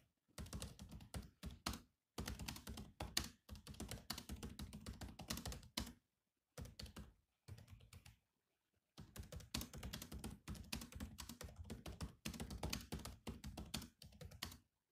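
Bare fingertips of both hands type on the black plastic chiclet keys of a grey laptop keyboard. Rapid runs of clicky, thunky keystrokes come in bursts separated by brief pauses, each stroke a short, dry tap with a low body and a bright click that dies away almost at once.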